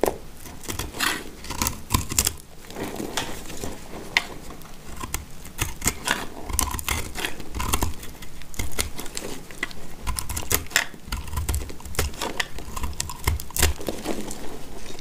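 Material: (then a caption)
Soap. A box-cutter blade scrapes and carves dry, crumbly chunks off a solid dry yellow soap bar held in the hand. Rapid, dry scraping cuts come one after another with bright, crackly crumbling, over a faint low rumble.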